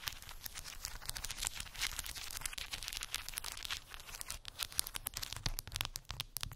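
Long pink acrylic nails tap and scratch across rows of round wooden beads on a small, flat cork board. The result is a dense, continuous run of quick, bright clicks and crackly scratching with no ring, over a faint low rumble.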